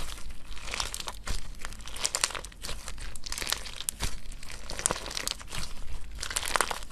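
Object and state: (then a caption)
Slime with gel water beads. A clump of clear orange slime full of gel water beads is held in two hands while fingertips and thumbs press, knead and stretch it. It makes continuous wet, crunchy squishes and bright crinkling crackles, with dense irregular pops over a low, steady background.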